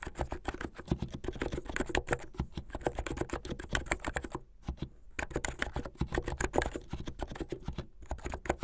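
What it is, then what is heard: Plastic keyboard. Long rounded painted fingernails type quickly on a plastic keyboard with white plastic keycaps and blue backlit keys at the side. A dense, steady run of short, dry clicks mixes a low thud with a bright clack, pausing briefly twice before picking up again.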